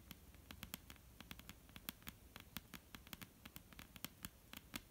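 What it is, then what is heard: Wooden tabletop tapped with fingernails. Long almond-shaped painted nails tap and lightly scratch a flat, solid, dark-brown wooden tabletop. Quick, irregular clicks with a bright edge and almost no ring sit over a soft, low scratching rustle throughout.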